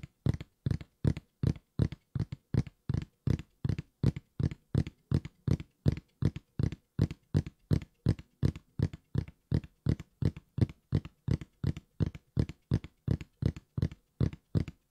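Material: Cardboard.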